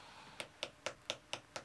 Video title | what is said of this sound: Julia & Jacques Cooking at Home - Season 1 Episode 12 | You know it's already hard, you can hear it.